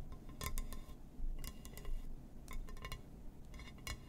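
Fingers tap and scratch on a glass surface, making quick, bright clinks and ticks over a steady low hum. The taps come in irregular clusters at a moderate pace, and each one stops short with almost no ring.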